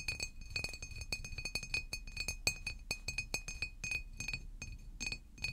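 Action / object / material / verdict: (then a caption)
tap / glass water bottle / glass / none. A large green glass water bottle standing upright is tapped rapidly with fingernails, giving a steady stream of dozens of quick, bright clinks. Each tap rings briefly at a clear pitch around 2.5 kHz, with high overtones and a soft low thud beneath.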